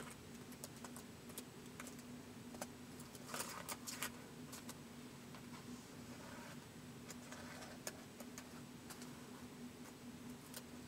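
Fingertips type slowly on a white plastic laptop keyboard, giving soft, bright, short clicks spaced irregularly over a steady low hum. Some keystrokes land close together in small clusters, and each click dies away almost instantly.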